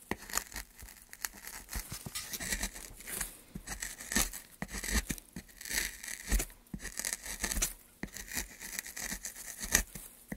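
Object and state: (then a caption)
Pine wood board. A wooden-handled gouge carves along a solid, light pine softwood plank held by a gloved hand. It makes a series of dry, bright scraping strokes with a rasping, tearing texture. The wood crackles and rises and falls in short bursts, with faint low thumps underneath.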